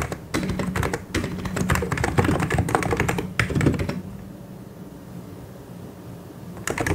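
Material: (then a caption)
Plastic. Fast fingertip typing on a white and grey plastic mechanical keyboard produces a dense run of quick, clacky key clicks with a low thud beneath. The typing stops for about two and a half seconds of near silence, then resumes briefly at the end.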